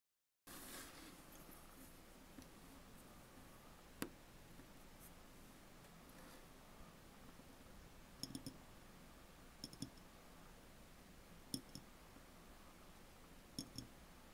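Long fingernails tap on the glass body of an empty clear glass jar with a metal screw lid, lying on its side on a table. About thirteen quiet, sharp clicks come in scattered single taps and quick pairs over a low, steady hiss, each one dying away almost instantly.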